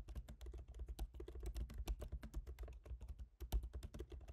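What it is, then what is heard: Laptop keyboard typing. Both hands type rapidly with their fingertips on a MacBook Pro keyboard, black plastic keycaps set in a silver aluminum body. A quiet, steady stream of short, soft taps is heard, mostly low thuds with faint bright clicks on top and almost no ring after each keystroke.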